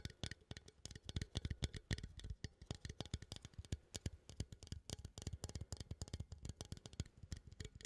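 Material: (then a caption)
Metal. A small cylindrical metal coffee tin, held upright in one hand, is tapped and scratched with the fingertips and nails of the other hand. A steady stream of rapid, dry taps carries a low, hollow thump underneath, with bright clicky nail edges and faint scratchy texture between them. Each tap stops almost instantly, with no ring.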